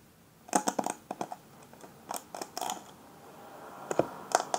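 Fingertips and nails scratch and brush across the plastic pin bristles of a black paddle hairbrush held in the hand. The result is a quiet series of short, bright, clicky scratches with a faint plastic ring, separated by soft pauses.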